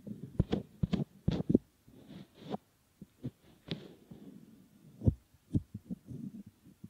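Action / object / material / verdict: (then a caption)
scrape / silicone ear model / silicone / none. Fingertips squeeze, fold and rub a soft solid silicone ear model. The result is a series of close, muffled thumps and soft squishy rubbing, mostly low and dull with almost no brightness. Short quiet gaps separate the bursts of handling.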